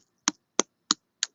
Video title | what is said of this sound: Manifesting, Fruits, Wellness Live Replay! | knock it to hear how hollow it is the more Hollow it is the more ripe it is